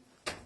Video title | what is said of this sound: A la découverte de DOGBO | ça sonne creux. Ça sonne creux.